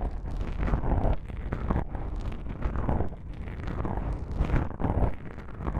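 Long pink-painted nails scratch and rub two small, soft, porous black foam windscreen covers on a binaural microphone. The result is a continuous, muffled, low rumble and crackle with rustling swells, almost entirely bass-heavy and without any bright content.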